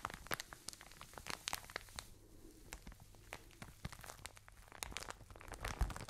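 A full plastic bag of cotton wool is crinkled and squeezed with fingertips and long nails, giving a dense run of sharp, bright crackles and crinkles over a steady low hum. The crackling eases into a softer rustle partway through, then picks up again with louder snaps toward the end.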